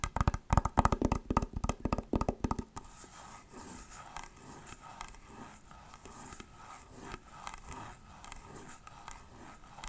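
Long nails tap rapidly on the shell of a hollow, elongated white plastic clamshell glasses case, giving quick, sharp, crisp clicks for the first few seconds. They then switch to soft, steady scratching along the shell, producing a quieter, high rustling texture that continues to the end.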